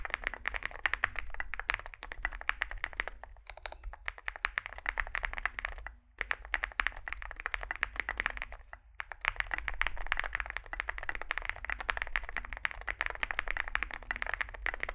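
Fingertips type continuously on a small Zoom65 65% mechanical keyboard with a dark case and white and grey SA plastic keycaps, giving a rapid stream of short, clacky keystrokes centered around 1.9 kHz with bright upper edges. Brief pauses fall near 3, 6 and 9 seconds, and a steady low hum runs underneath throughout.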